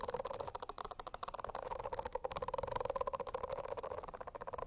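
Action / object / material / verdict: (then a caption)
scrape / silicone notebook cover with bristle nubs / silicone / none. Long acrylic nails scratch rapidly across a rainbow silicone notebook cover covered in small bristle nubs, lying flat. The sound is a quick, continuous run of crisp, crackly scratches with a steady squeaky tone near 500 Hz and 1 kHz.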